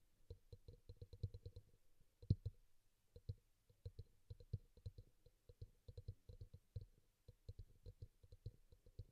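A small, glossy teal bowl, likely plastic, sits hollow and upside down on a towel while one hand taps and clicks on its side and rim with fingertips and nails; a pink bowl beside it stays untouched. Quiet, dull, low-pitched clicks come in quick, uneven runs of about forty taps, each dying away almost at once with no ring. One stronger knock stands out just past two seconds.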